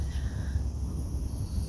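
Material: Nothing is struck.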